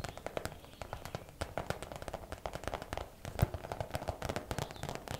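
A clear plastic zip bag full of hair rollers, turned on its side, is tapped quickly with long nails. The result is a fast, steady run of short, dry clicking taps with a low, hollow thud and faint plastic crackle, each dying away almost instantly. One tap lands noticeably harder about two-thirds of the way through.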